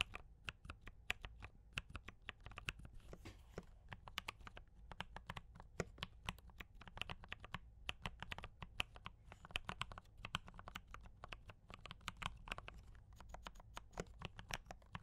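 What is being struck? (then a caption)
Mechanical keyboard with plastic keycaps. Both hands type continuously with fingertip taps on a compact D84 mechanical keyboard with brown switches and cream and red plastic keycaps. A steady stream of short, crisp plastic clacks with bright tops and a soft low thock, each tap dying away almost at once.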